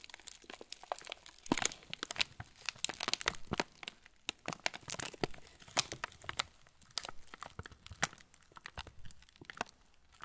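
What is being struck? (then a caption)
Cracker packet in plastic film wrapper. A full yellow plastic-film TUC cracker packet is held in both hands while the fingertips press and rub the wrapper. It makes dense, bright crinkling and crackling with sharp, dry snaps and little low end. The rustling bursts continue unevenly throughout.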